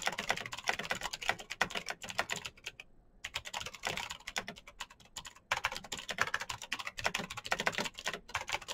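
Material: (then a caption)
Plastic. Fingertips type fast on a black Razer BlackWidow mechanical keyboard with plastic keycaps on clicky green switches. The result is a dense stream of sharp, bright clicks with very short decay. Short pauses come near the 3-second mark and just before 5.5 seconds.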